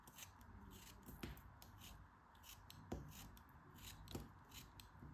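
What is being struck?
Kinetic sand block cut with a metal blade.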